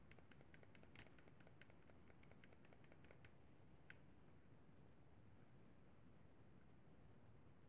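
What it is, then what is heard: Plastic game controller buttons. Fingertips tap and click the buttons and sticks of a hollow, white plastic Xbox 360 controller. A quick run of light, bright, dry clicks lasts about three seconds, followed by one last click just before the four-second mark. Only a soft, low background hiss remains after that.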